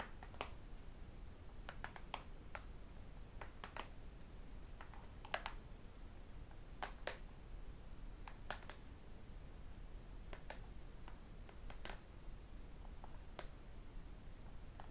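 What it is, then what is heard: Glass-and-aluminium tablet being tapped. A thin tablet computer with a glass screen and aluminum casing is held upright and then flat while being tapped with fingertips and metal rings. Quiet, sharp, dry clicks and taps come at an irregular pace, each dying away almost at once, over a low, steady background rumble.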